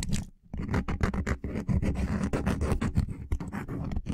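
A small, flexible coaster made of linked solid wooden blocks, draped over the top of a microphone, is scratched and tapped with the fingernails of short-nailed fingertips. The result is a dense run of quick, dry, scratchy taps with a heavy low thump and almost no ring, broken by a brief pause near the start.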